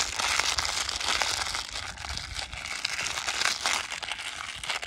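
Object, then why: Small plastic foil sachet. A small printed plastic/foil sachet with green ends is held in the fingertips and crumpled and rubbed close up. The result is a continuous, bright, crackly crinkling that rises and falls in quick, uneven bursts with almost no low end.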